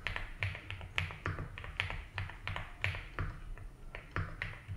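Fingertips type slowly on a 75% mechanical keyboard with ABS keycaps in a light blue plastic case. Each keystroke gives a crisp, bright clack over a low, hollow thud, and it dies away almost at once. The taps come at an uneven, relaxed pace throughout.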